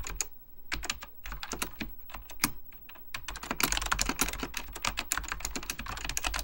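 Fingertips type continuously on a beige plastic full-size Apple Extended Keyboard II, pressing hollow plastic keycaps over mechanical switches. Crisp, bright clacks with a low thock underneath come in a quick, irregular stream, growing denser and louder about halfway through.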